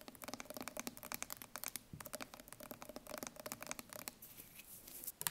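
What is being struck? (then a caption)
Steel food can. Long painted nails tap and scratch the metal end and the label of a green-labelled steel food can held sideways. A rapid run of crisp, dry, bright ticks dies away almost instantly, with a faint metallic ping under some taps. It eases into a softer scratching rustle before one last sharp tap.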